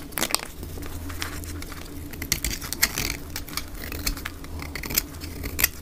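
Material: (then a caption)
Soap. A black utility blade shaves thin curls off the face of a solid olive-green dry soap bar held in both hands, played at double speed. Quick, bright scraping and crackling strokes sound over a steady low hum.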